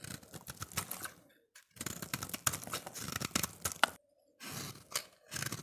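A solid, oval, translucent orange soap bar held in the hand is scraped and shaved with a utility-knife blade. Quick, dry, crunchy scraping strokes carry a bright crackle and come in dense bursts, broken by two short silent pauses.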